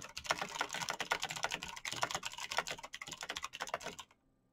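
Fingertips of both hands type fast on a black mechanical computer keyboard with plastic keycaps and clicky switches. A dense, bright stream of sharp clicks and clacks runs steadily for about four seconds, then stops into near silence.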